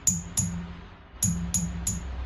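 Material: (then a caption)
Glass. Five light taps on the glass vacuum output tubes of a Mesa F50 guitar amplifier each come through the speaker as a big low thump with a bright, high ping on top. The taps show the output tubes are microphonic, so they need replacing.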